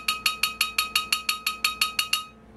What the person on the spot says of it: this lower surface is the most resonant part of this tonearm assembly